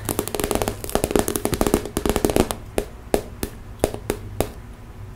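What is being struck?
Clear plastic zip cosmetic bag.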